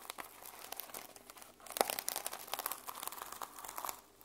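Fingernails scratch and flip the teal and silver reversible sequins on the fabric cover of a small journal held in the hands. The result is a quiet, continuous, bright crinkling and rustling with dense tiny clicks and no low end, plus one sharper click a little before the two-second mark.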